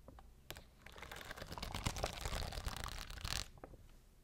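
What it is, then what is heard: Plastic rhinestone sheet. Long blue nails scratch and tap over the stones of a clear plastic rhinestone-grid sheet held close. The result is a dense, crackly mix of bright clicks and gritty scratching with a few sharp taps.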